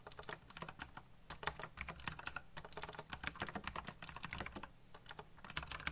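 Fingertips tap quickly on the keys of a backlit black plastic mechanical keyboard in a steady, fast typing run. Each keystroke is a short, crisp click with bright high clatter and almost no ring, over a faint low hum.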